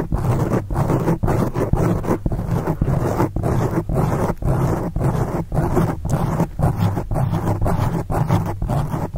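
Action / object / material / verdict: scrape / foam microphone windscreen / foam / none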